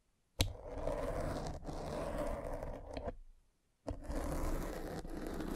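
A metal-spiked derma roller is rolled across a soft, porous black foam windscreen on a microphone, scratching the foam. Each pass starts with a sharp contact click and becomes a dense, low-heavy scratchy rustle. A short silence separates the two long passes.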